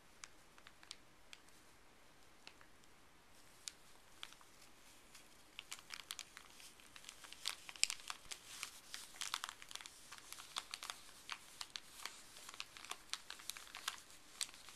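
Gloved fingers crinkle a small, thin, folded white paper wrapper with blue print and fold it flat. Sparse, soft, bright crackles open the clip, then the crinkling grows denser and louder from about five seconds on, with sharp high snaps over a quiet background.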